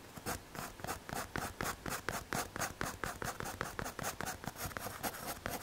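A pencil tip shades across a small, solid, square brown MDF or hardboard panel held in the fingers, rubbing and scratching against the surface. The result is a quick, uneven series of dry, raspy strokes with bright scratchy edges that stop dead, with no ring after each one.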